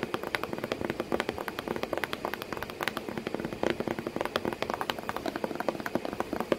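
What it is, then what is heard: Cardboard box tapped with fingernails. Long painted nails tap rapidly on the flat flap of a hollow corrugated cardboard box with a cat sitting inside. The result is a dense, continuous stream of short, dry, papery clicks with a hollow mid-range body and little low end or ring.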